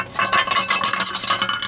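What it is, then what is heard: Catalytic converter with broken, loose substrate. A steel catalytic converter from a Jeep Wrangler YJ is shaken, and a loose broken chunk of its ceramic substrate rattles inside the shell. The result is a rapid, continuous series of bright, clattering metallic rattles. The converter is faulty, with its substrate broken loose.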